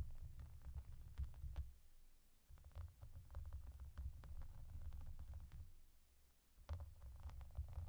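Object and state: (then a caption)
Plastic bubble bath mat. Long painted nails tap and scratch the raised hollow bubbles of a clear, soft plastic bath mat with yellow duck shapes, using both hands and working around the ducks. The result is a quiet, muffled stream of low, dull thumps and soft rubbing, with faint brief clicks on top, briefly dipping quieter before picking up again.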